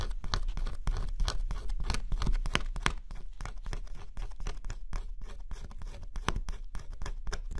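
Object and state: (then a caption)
Scratch-off cardboard puzzle being scraped. A stylus scratches the coating off a flat scratch-off cardboard jigsaw puzzle, exposing the color underneath. Quick, uneven dry scraping strokes follow one another steadily, each a short bright rasp over a low, steady rumble.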